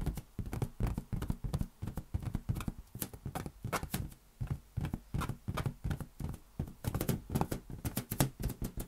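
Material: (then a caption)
Latex rubber. A large inflated, hollow, air-filled lime-green latex balloon is held in one palm above a white desk and tapped with the fingertips of the other hand. The result is a rapid, uneven series of soft, deep, hollow thumps with a low pitch, each dying away almost at once, with a faint bright tick on some taps.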